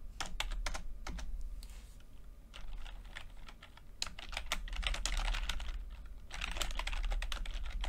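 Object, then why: Plastic computer keyboard. A full-size plastic computer keyboard with red and blue backlit keys and low-profile keycaps is typed on continuously with the fingertips of both hands. Quick, bright clicks come in irregular bursts with short pauses between runs, over a steady low rumble.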